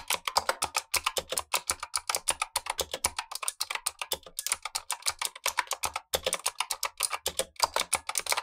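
Gloved fingertips type continuously on a black tenkeyless Razer Huntsman V2 mechanical keyboard with clicky switches and plastic keycaps. A rapid, steady stream of sharp, bright clicks and clacks, each dying away almost at once, with little low-end thump.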